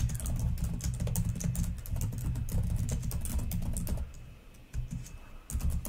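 Long nails type on the plastic keys of a black laptop keyboard, producing a rapid, irregular stream of bright, sharp clicks over a low, dull thump. The tapping runs steadily, softens briefly around the fourth second, then picks back up in short bursts.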